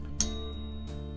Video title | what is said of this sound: Product Review: Money Metals Pocket Pinger! | you hear that little ring that little resonance